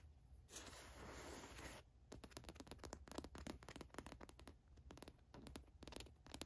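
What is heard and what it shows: Long nails scratch across the watch print and trace the embroidered letters on a black printed cotton t-shirt. A steady rasping scrape runs for about a second and a half, then breaks into a quick series of dry, bright scratches and ticks.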